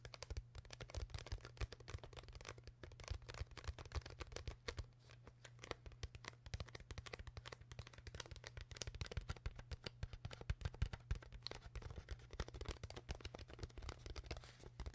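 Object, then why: Plastic water bottle. Long nails tap rapidly and continuously on the body of an empty, hollow, clear PET plastic water bottle with a white cap. The result is a quiet, dense stream of short, dry clicks with bright crackly edges that die away almost instantly, over a steady low hum.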